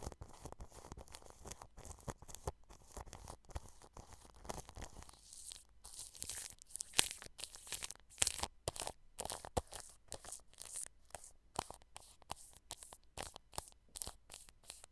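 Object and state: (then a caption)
Cling film brushed over a microphone. A paintbrush brushes clear plastic cling film wrapped over a microphone grille. The result is a steady run of quiet, dry crinkling strokes with short gaps, bright and hissy, with some low thumps under them. Louder crackly bursts come midway through.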